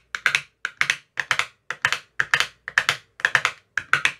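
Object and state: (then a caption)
Plastic ice cube tray tapped with a metal rod. A thin metal rod with a white tip taps inside the cells of an empty clear plastic ice cube tray with about 15 cells and green silicone bottoms. It makes eight quick bursts of two or three bright, crisp clicks each, centered near 1.7 kHz with a high edge. Each click dies away almost at once, leaving brief silence between the bursts.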